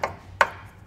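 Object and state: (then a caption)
Loose hitch bike rack. With its anti-rattle handle undone, a metal Kuat Sherpa 2.0 hitch bike rack for 2 bikes is shaken in the receiver of a 2022 Chevrolet Tahoe. Two short, sharp clunks with a mid-range knock around 1 kHz and almost no ring are heard, the second louder than the first. The rack moves in the receiver, showing it is loose.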